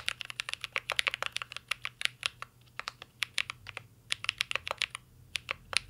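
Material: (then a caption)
Plastic. Fingertips of both hands type on a full-size CYBERBOARD R3 mechanical keyboard with an aluminum case, plastic keycaps and Holy Panda switches. About 36 sharp, bright clacks land in quick, uneven bursts, each snapping off almost instantly, with a short lull in the middle. There is almost no low end, and the keystrokes center around 2.7 kHz.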